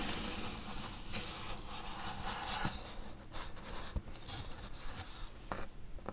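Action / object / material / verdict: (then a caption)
scrape / corrugated cardboard box / cardboard / none. Long acrylic nails scratch and tap along the edges and bottom of a flat, closed, medium-sized, hollow corrugated cardboard box held in both hands. A steady, bright scratchy rasp runs over a low, hollow resonance, broken by a few sharper taps near the end.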